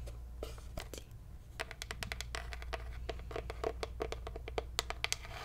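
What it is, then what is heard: Hollow wooden cigar box. Long nails tap and scratch across a closed, hollow wooden Ashton cigar box with a paper label. Quick, dry clicks and scraping strokes come in a rapid, uneven pattern, some with a short hollow ring around 450 Hz and bright crackle on top. A steady low hum runs underneath throughout.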